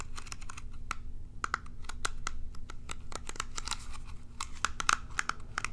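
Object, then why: Plastic pin hairbrush. Long nails scratch and strum the bristles of a small plastic pin hairbrush held near the microphone. The result is a quick, irregular run of sharp, dry clicks and ticks with a bright, papery edge, each dying away almost at once. Beneath them sits a steady low hum.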